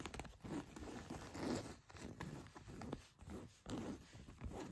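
Long white nails scratch across the back pocket area of a pair of blue denim jeans laid flat. Soft, rough scratching strokes rise and fall in repeated bursts, with a dry, fibrous rasp mostly in the low and middle range.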